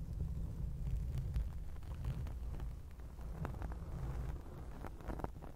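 Long acrylic nails scratch a black foam microphone windscreen, producing a dense, low rumbling scratch with brief brighter scrapes scattered throughout. The sound is steady and continuous, with no pauses.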